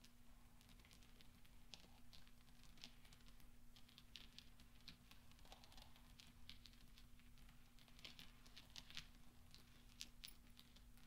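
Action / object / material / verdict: scrape / small steel balls on cloth / steel / none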